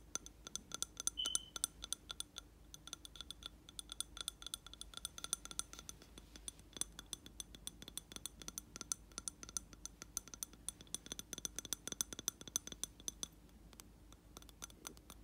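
A hand holds a lit candle in a round glass jar filled with wax while fingertips and nails tap quickly and unevenly on the glass sides. The taps make bright, short clinks that die away almost instantly, with little low-end weight.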